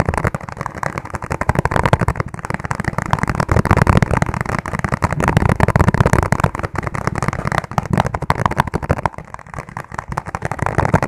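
Fingertips tap rapidly on the base of a clear, ribbed plastic food container held upside down, hollow and empty. The taps run together into a dense, continuous patter of short, dull, hollow clicks with a low, boxy body and very little brightness, each one dying away almost at once. The pace stays steady, easing slightly near the end.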